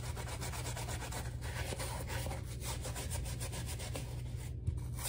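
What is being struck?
Rubber slide sandal scrubbed with a bristle brush.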